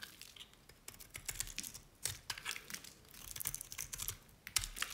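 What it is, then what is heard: Dry bar soap being shaved. A utility knife blade shaves curls off the face and edge of an oval green bar of dry Nevskaya Cosmetics soap. Quiet, rapid, crisp scraping and crackling sounds like fast keyboard clicks come in short bursts, bright and dry with almost no low end.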